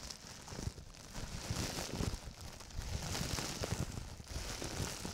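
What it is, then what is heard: Plastic bubble wrap being crinkled. A large, clear, hollow air-cushion plastic bubble wrap sheet is held in both hands in front of the microphone and crumpled and rubbed with the fingertips and palms. It makes a steady, dense crinkling and rustling with small crackles, full low handling rumble and a bright, airy hiss on top.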